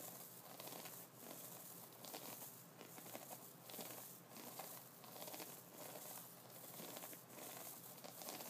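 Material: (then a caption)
Wood, bristle. Fingers of both hands scratch and flick the bristles and nubs of an upright wooden brush. The result is a quiet, steady crinkly scratching with bright, crackly texture and faint flicks recurring at an uneven pace.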